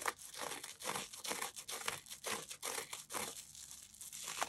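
Fingertips scratch and squeeze the surface of a damp, yellow, porous cellulose sponge coated in toothpaste foam, held in both hands above a yellow bowl. The result is a quick, irregular stream of bright, wet crackling and crinkling bursts with a soft, foamy texture. The sponge stays whole.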